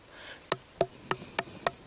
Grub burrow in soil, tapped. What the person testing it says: That's a bad hole. Different sound. That's dead.